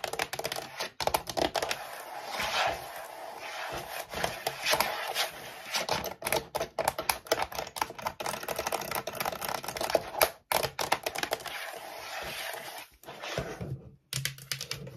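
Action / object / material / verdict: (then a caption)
tap / plastic computer keyboard case / plastic / none. Long nails rapidly tap and scratch the bottom panel of a white plastic computer keyboard turned upside down, its hollow plastic case giving a thin, hollow response. Dense, bright clicks mix with raspy scratching strokes, each tap dying out almost instantly. The flurry keeps going for the whole clip, with brief pauses near 10 and 14 seconds.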